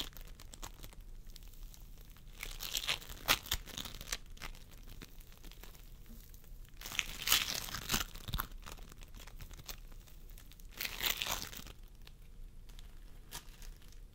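A pastel mound of floam sculpting foam, made of tiny polystyrene beads in a sticky binder, sits as a soft, solid mass on a wooden table while both hands squeeze and press it with the fingertips. Bright, sticky crackling and crinkling comes in three louder bursts over a steady bed of faint, fine snapping, each pop dying away almost instantly.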